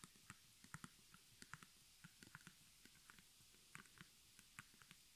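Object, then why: Cotton canvas stretched on a wooden frame. Long nails and fingertips tap rapidly on the front of a small square white cotton artist canvas, stretched over a hollow wooden frame, embroidered in black thread with crossed arrows and the word "HOME", and held up in both hands. About fourteen quiet, dry taps sound in an uneven patter, each a soft low thump with a bright papery click that dies away almost instantly.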